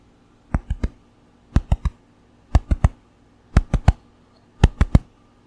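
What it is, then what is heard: Hollow-sounding baked bread loaf. A fresh-out-of-the-oven, still very hot country white bread loaf is knocked on the bottom in five quick groups of three, 15 short, dull, low thuds in all. The hollow, drum-like sound shows the loaf is baked through.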